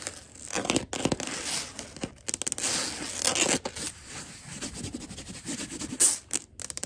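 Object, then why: Wood-look laminate floor. Long glitter acrylic nails scratch, tap and scurry across a flat wood-look laminate floor with a wood-grain surface. The sound is a bright, crackling rasp broken by quick sharp clicks and brief pauses.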